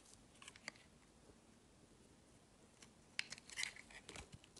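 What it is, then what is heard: Bar of soap being shaved with a blade. A metal blade carves and shaves slices off a solid dark grey bar of soap held in both hands. Quiet, bright, crisp scraping and crunching comes in uneven short strokes, with a sharp tick early on and a denser run of shaving near the end.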